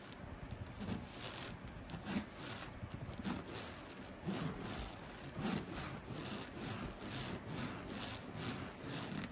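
Fingertips and nails scratch and rub the textured surface of a flat, coarsely woven blue and white fabric placemat. The result is a steady, dense, dry scratching and rasping with irregular strokes that swell and fade. There are a few slightly louder rubs along the way.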